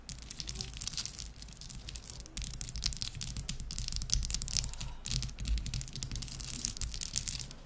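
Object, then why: Ice cubes on a towel. A row of small solid ice cubes resting on a white towel is tapped and scratched quickly with long pink acrylic nails of both hands. It makes a dense, fast stream of crisp clicks and bright, hissy scratches over a steady low rumble, with short pauses between bursts.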